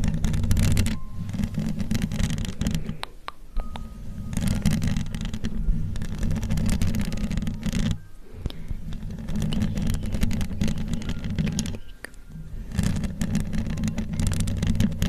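Long acrylic nail tips scratch and tap the hollow woven metal mesh grille of a large condenser microphone, first with one hand and then with both. Dense, rasping scrapes sit mostly in the low range, broken by brief quieter pauses near 3, 8 and 12 seconds.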